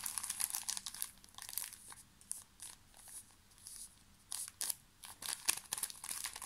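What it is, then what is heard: Plastic tissue pack wrapper crinkled. A full, small pocket pack of paper tissues in a thin, crinkly plastic wrapper is squeezed and crinkled with fingertips close to the mic. Dense, bright, crackling crinkles come in irregular bursts with brief quiet pauses between them. There is almost no low end.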